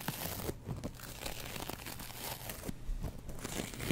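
A double-edge razor blade scratches along the foam of a yellow and green kitchen sponge with a scouring pad. The result is a steady run of dry, crinkly rasping strokes, with soft crunching and tearing-like scrapes and brief bright ticks over a muffled low rumble. The whole clip stays fairly quiet.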